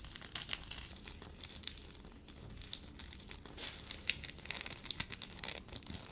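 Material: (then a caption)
Peanut shell. Long fingernails scratch and crinkle a single small, hollow, dry, papery peanut shell held in the fingers. Quiet, crisp, high-pitched crackling and scraping come in irregular bursts, with a few sharp clicks rising above the steady rustle.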